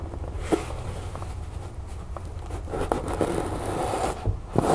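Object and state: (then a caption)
Fabric storage bin. Long nails scratch and tap the sides of an empty rectangular fabric storage bin with a chevron print, its cloth stretched over a stiff board frame, while it is held in both hands. A steady soft, dry scraping with a low rumble underneath is punctuated by four short, sharp taps that die away almost instantly.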